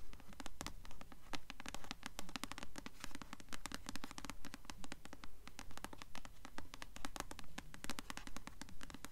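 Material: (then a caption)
Glossy paper. Long nails scratch rapidly across the glossy paper dust jacket of a blue *Delirium* hardcover book held upright in both hands. The result is quick, steady bursts of crisp, papery scratching in a regular rhythm over a constant low background hum.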